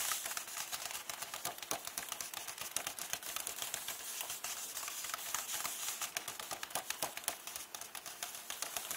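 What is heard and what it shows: Long painted nails tap rapidly on the paper pages near the edges of an open hardcover book, staying on the same text spread. The result is a quick, uneven stream of short, dry, bright ticks with a papery crinkle, and almost no low end.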